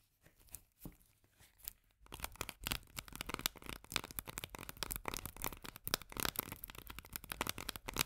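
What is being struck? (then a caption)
Tinplate food can with paper label. A full tinplate can of Bonduelle corn with a paper label is turned in the hands while long nails tap and scratch its rim and labelled side. A few soft, sparse taps give way after about two seconds to a dense run of quick, dry, bright clicks and scratchy rustles with almost no ring.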